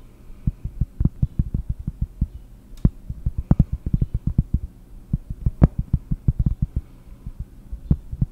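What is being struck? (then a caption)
Cork surface. Fingers tap on cork for ASMR, producing deep, soft, dull thuds in quick, irregular bursts. The taps are low and muffled, with almost no ring and a faint low hum underneath.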